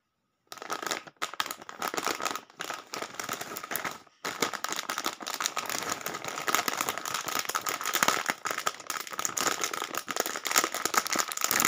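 A medium, flexible Lay's cheese chip bag of foil-lined plastic film, filled with chips, is gripped in both hands and crinkled, rubbed and squeezed while being turned from back to front. Dense, bright crackling and crinkling rustles start after a half-second of silence, with brief gaps near 1 and 4 seconds, then build into a steady crinkle that carries a faint high tone near 1.4 kHz. No low end is heard.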